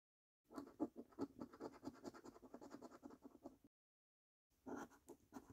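A coin held in the fingers scratches the latex-coated number panels of a thin, flat paper scratch card. The dry, rasping strokes come in rapid, uneven bursts for about three seconds, pause briefly, then resume for a final short run.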